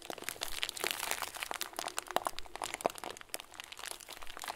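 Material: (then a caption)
Plastic. A hand-sized clear plastic bag full of small white plastic pearls is held in both hands and squeezed and crinkled. It gives a continuous, dense, bright crinkling and crunching, with short sharp clicks and pops scattered throughout and little low-end weight.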